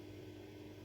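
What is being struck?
Nothing is struck.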